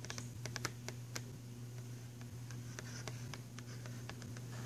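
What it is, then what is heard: Cardboard pencil box. Fingernails rapidly scratch and tap on the cover of a filled, printed cardboard box of pastel pencils. Quick, dry, bright clicks and scratchy taps come in irregular bursts, sounding like light typing. A steady low hum runs underneath throughout.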